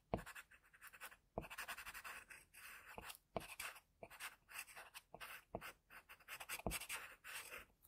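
A graphite pencil scratches across a flat sheet of drawing paper in continuous strokes, drawing a leaf symbol. The quiet, bright, papery scraping comes in short bursts separated by brief pauses, with occasional sharp ticks as the pencil lead meets the sheet.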